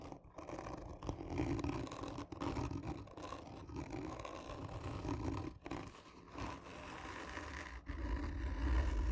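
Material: Cardboard.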